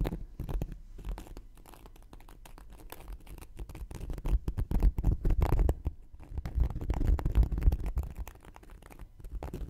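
A thin wooden knitting needle scratches and pokes the surface and edge of a round, flat, solid cork coaster held in one hand. It makes a dense run of dull, low, rumbling scrapes and soft taps with no ring. The sound grows louder and rougher in the middle and again near the end.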